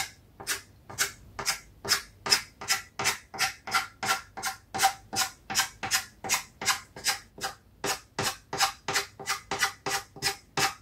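A stick of chalk held in fingers is rubbed and stroked across a flat, solid, rectangular black chalkboard sheet lying on a table to draw grass lines. About 29 quick, bright, scratchy strokes follow in a steady rhythm, each a short rasping burst with almost no low end and no ring.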